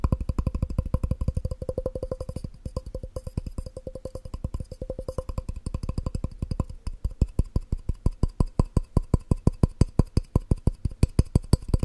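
A glass cup is tapped fast and aggressively in a rapid, uneven stream of short, dull knocks. Each tap lands with a low thump and a faint glassy ring around 500 Hz that dies away almost at once. The tapping grows louder and more spaced out in the second half.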